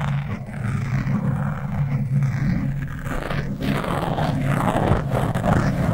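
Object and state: Foam microphone windscreen being scratched.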